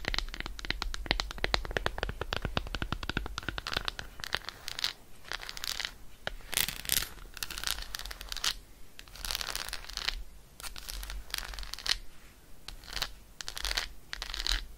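Long nails tap and scratch quickly across the embossed squares of a solid, unwrapped Roshen milk chocolate bar. Dense bursts of dry, crackly clicks and scraping rustles come in short waves, with brief quieter gaps between them.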